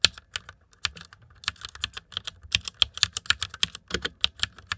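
Fingertips type quickly on the keycaps of a white plastic mechanical computer keyboard. About two dozen sharp, bright clacks land in an uneven, rapid rhythm, each stopping almost instantly with little low-end weight.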